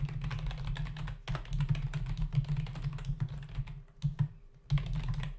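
Fingertips of both hands type fast on a full-size black plastic membrane computer keyboard with hollow keys resting on a desk. A dense stream of quick, soft, hollow-sounding key taps with a low, thumpy body and very short decay briefly thins out twice before resuming.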